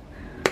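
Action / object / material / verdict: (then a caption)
tap / roast pork belly skin / pork skin / crisp. A single crisp tap on the crackling skin of an oven-roasted pork belly gives a short, sharp click with a bright edge that dies away almost at once. The hard, hollow tap shows the skin is very crispy, so crisp it is hard to cut.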